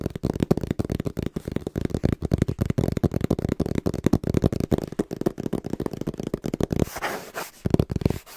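Fast, rhythmic fingertip tapping on a small, hollow brown cardboard box held in both hands, producing a rapid stream of dull, low, hollow thumps with very little brightness. Near the end, a brief brighter rustling scrape is heard as the box is shifted close to the microphone, and then the tapping resumes.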